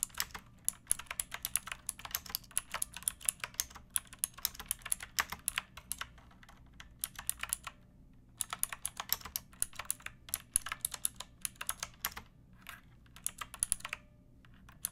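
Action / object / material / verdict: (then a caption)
tap / plastic mechanical keyboard / plastic / none. Fingertips with long nails type on a pink backlit mechanical keyboard with plastic keycaps, resting on a wooden block. Bursts of quick, bright clicky keystrokes run with a short pause near the 8-second mark. Each click is sharp and dies away almost instantly.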